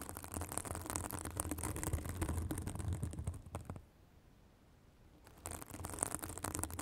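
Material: Synthetic fibre.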